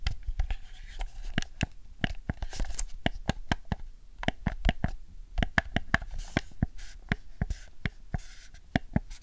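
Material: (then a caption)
Plastic. A camouflage hollow plastic PS4 DualShock 4 controller lies on a fluffy rug while long nails tap and press its buttons, shell and touchpad. The result is a rapid, irregular series of short, crisp plastic clicks and taps that die away almost instantly, with soft scratchy rubbing between them.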